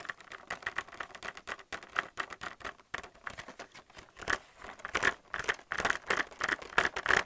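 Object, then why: Plastic blister pack holding plastic palettes on a card. Fingernails tap quickly on the hollow clear plastic blister of a pack holding white plastic paint palettes on a cardboard card. The result is a fast, irregular run of dry, bright plastic clicks with a hollow midrange tone, almost no low end and very short ring. The taps grow denser and slightly louder toward the end.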